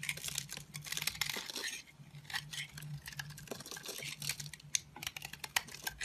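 A solid peach Essense&Co bar soap, held in the hand, is shaved with a green-handled utility knife, sending flakes and curls onto a pile. Crisp, bright scraping and crackling strokes come in quick, overlapping bursts. A faint low hum sits steadily underneath.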